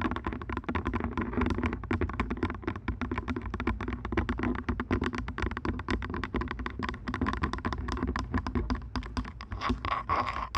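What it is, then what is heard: Plastic headphones tapped. Purple plastic over-ear headphones rest over a microphone's ears while their headband and earcups are tapped rapidly with long nails. The result is a steady stream of quick, hollow plastic clicks and taps with a muffled, bassy thud beneath them and almost no ring.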